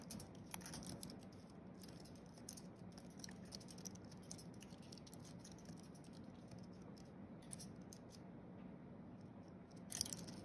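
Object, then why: Thin aluminium and plastic computer keyboard. Fingertips of both hands tap quickly across the white plastic keys of a thin wireless keyboard with a flat aluminium base, typing. The result is a soft, continuous stream of light, bright clicks over a low background hum, with a slightly louder flurry of taps near the end.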